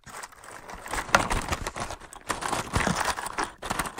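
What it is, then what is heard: Cardboard matchbox, tapped and scratched. A large, closed, hollow cardboard matchbox is tapped and scratched with fingertips and short nails. The result is a continuous run of dry, papery scratching and crinkly taps with a bright, rustling texture. A sharper tap stands out early on, and there are brief pauses before the scratching resumes.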